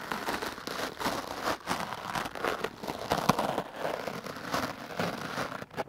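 A hard-bristle wooden clothes brush is swept rapidly across a foam microphone windscreen held in the hand. The result is a dense, crackly brushing and scratching texture, mostly in the midrange with a bright hiss, pulsing with quick strokes and one sharper scrape near the middle.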